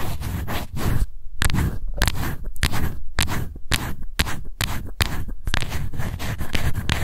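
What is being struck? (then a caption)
Plastic face powder jar. Long white nails scratch the lid and sides of a small, light-blue, round plastic face powder jar. Dense, dry scraping comes in bursts, with bright crackly streaks over a strong low thump, broken by brief quieter gaps.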